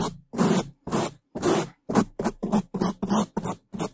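A bamboo toothbrush held in a gloved hand rapidly scrubs the sides and top of a black foam microphone windscreen. It makes 12 separate, unevenly spaced bursts of loud, dense, scratchy brushing. Each burst has a full, muffled low-mid body around 200 Hz under a bright hiss, and stops abruptly into silence.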